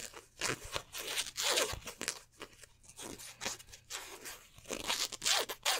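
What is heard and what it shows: Fingertips and nails scratch and rub the twill "23" appliqué numbers on a black polyester basketball jersey. Uneven bursts of bright, crisp scratching and rasping rise and fall in a loose, irregular rhythm, with brief quieter gaps between strokes.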